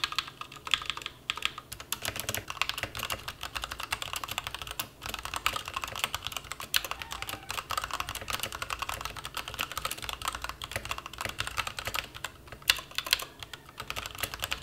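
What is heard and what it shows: A white-cased plastic mechanical keyboard with black and white plastic keycaps sits on a bare desk while both hands type on it with their fingertips. The result is a steady, fast stream of short, bright plastic clicks and clacks with almost no low end and barely any ring after each keystroke.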